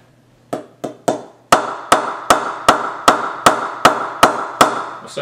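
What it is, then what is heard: Willow cricket bat knocked with a mallet. A solid willow cricket bat with a red and white brand sticker, held by the handle, is knocked on its face with a wooden mallet 12 times. The first three knocks are softer and the rest are louder, each a sharp wooden tock with a short mid-pitched ring that fades quickly.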